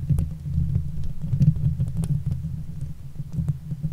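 Long nails of both hands scratch the top and sides of the hollow metal mesh grille on a Blue Yeti microphone. The result is a dense, low, muffled rumble that throbs unevenly, with faint bright ticks scattered through it.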